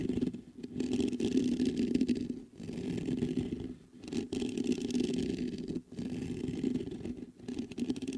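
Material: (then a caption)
Metal mesh. Fingertips rapidly scratch the hollow mesh grille of a black metal USB condenser microphone. The result is a dense, raspy scratching with a low hum around 250 Hz and a faint bright hiss above. It comes in several sustained bursts separated by brief quiet gaps.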